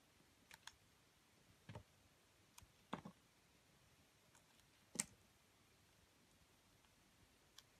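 A metal utility blade slices the rim off a solid, pale yellow, ring-shaped bar of soap held in the hand. Quiet, crisp clicks and short scraping cuts come at irregular intervals, some bright and some with a dull low thump. Each one stops almost at once, leaving faint steady hiss between them.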